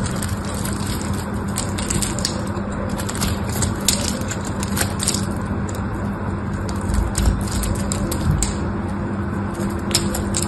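A black knife blade scrapes across a solid pink bar of soap held in the hand, cutting off crumbly shavings. A steady, dense crunching and crackling runs throughout over a low rumble, with short bright ticks scattered through it.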